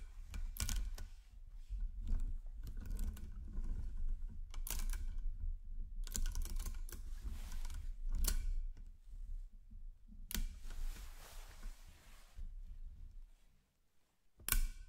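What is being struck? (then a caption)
Nickel-plated magnet cubes and spheres. Fingertips lay a chain of solid 10mm nickel-plated magnet cubes and spheres against a stacked magnet ring. The metal pieces click and snap together in short, bright bursts over a low background rumble, with a softer rustling stretch and a final sharp snap near the end.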